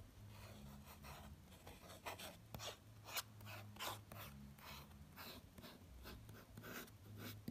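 A fingertip traces and scratches lightly over a glossy paper magazine lying open at a tiger photo. Soft, dry rasping strokes come in uneven bursts over a faint low steady hum.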